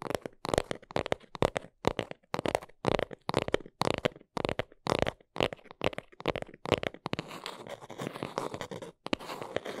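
A small brown cardboard box is held in both hands while long nails scratch and tap its sides. Quick bursts of dry, papery scratching alternate with short silences, centered in the low mids with a bright, hissy edge. Near the end, the bursts give way to steadier continuous scratching.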